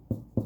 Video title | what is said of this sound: Homemade Bread no special skills or equipment required! | Like Somebody's knocking on the door that's what we're looking for